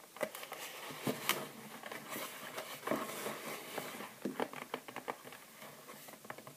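Long nails tap rapidly on the plastic lid of a small clear plastic gift box with a cardboard sleeve, holding three bath bombs, as the box is held on and above a table. The result is a quick, light patter of sharp, bright clicks with brief, dry decays.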